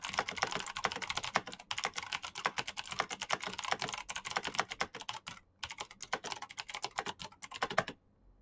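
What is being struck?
Mechanical keyboard with plastic keycaps.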